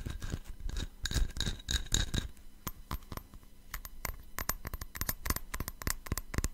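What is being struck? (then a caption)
Cut-glass tumbler. Fingernails tap and scratch the faceted surface of a small, hollow, empty patterned cut-glass tumbler held in the hands. The first half is dense, scratchy scraping, followed by a run of quick, bright, clicky taps that stop almost at once, over a faint low hum.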